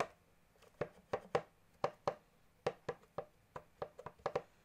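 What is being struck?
Plastic accordion keys and casing.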